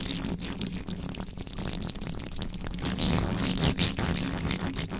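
Long nails scratch aggressively near the top of the bare metal mesh grille on a black microphone. The result is a rapid, continuous, crackling scrape with a heavy low-end rumble and bright, gritty bursts that swell louder toward the end.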